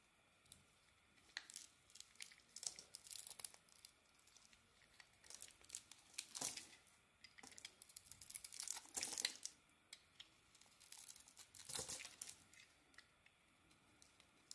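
A metal blade scrapes and carves a yellow-and-white oval soap bar, producing quiet, crisp, crumbly scraping and shaving sounds. The strokes come in irregular bursts of bright, high-pitched rasping with almost no low end, separated by brief near-silent pauses.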